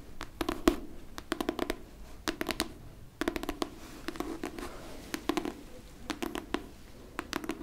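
Long painted nails tap and scratch a solid, medium-sized pink hardcover book with a paper-covered board cover. Rapid clusters of sharp, dry clicks sit over a soft, continuous scratching hiss.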